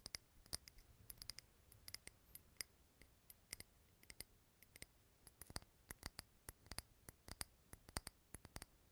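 Fingernails tap on a small clear glass jar candle filled with green wax, held close to the mic. Many quick, light clicks with bright, high ringing tones come in uneven bursts over a soft low hiss, each tap dying away almost at once.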